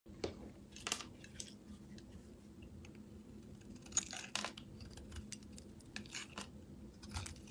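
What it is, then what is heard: Bar of soap being scraped. A metal blade shaves and scrapes crunchy curls off a solid rectangular green soap bar with embossed lettering, held in the palm. Bright, crisp crunches and scraping bursts come at irregular intervals, each stopping short, over a quiet, steady low background.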